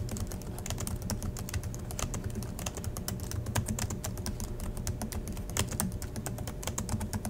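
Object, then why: Plastic laptop keyboard. Fingertips of both hands type steadily on the black plastic chiclet keys of a silver Acer laptop resting on a desk in dim light. A continuous stream of short, sharp clicks with bright tops runs over a steady low hum throughout, each click dying away almost instantly.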